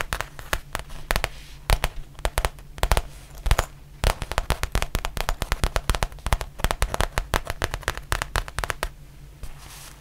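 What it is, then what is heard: Faux leather zip pouch. Long painted nails tap and scratch the textured surface of a black faux leather zippered pouch, about tablet-sized, held in the hand. Rapid, sharp, crackly clicks come in quick bursts over a steady low hum, with a quieter pause near the end.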